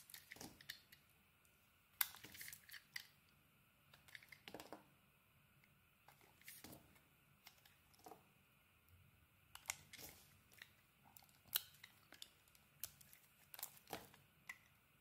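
A utility blade cuts thick curled shavings from a solid white bar of soap. Quiet, crisp scraping and crackling strokes come in bursts with brief pauses, mostly bright and high with little low end and almost no ring after each cut.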